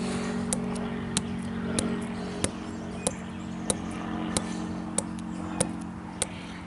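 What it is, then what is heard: Living tree trunk tapped. A slender living tree trunk outdoors, solid wood with rough grey-brown bark, is tapped and knocked with fingertips and knuckles. Ten short, sharp knocks come at a fairly steady pace, each dying away almost at once. A steady low hum sits underneath throughout.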